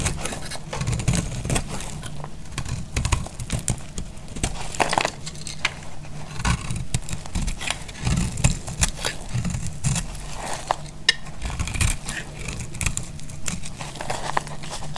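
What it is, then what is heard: Dry soap bar being shaved with a blade. A dry, solid purple striped soap bar held in the hand is shaved and cut with a metal blade, throwing off crunching flakes. Steady, dense dry crunches, crackles and scrapes run through the whole clip over a heavy low rumble, with short bright ticks that die away almost instantly.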